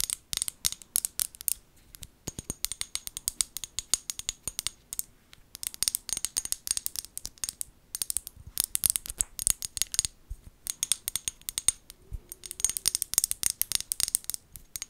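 Long gold nails tap and scratch the glass sides of a small amber glass bottle with a white plastic lid. Rapid, bright clicks and scratchy ticks come in dense bursts with brief pauses, each dry and very short with almost no low end.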